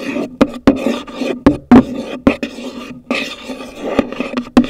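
Long nails tap the top of a hollow, pale green cardboard gift box, making sharp, dry clicks over a soft, continuous hollow rustle. Each tap sounds a brief low-mid hollow note near 290 Hz with bright edges and fades almost at once.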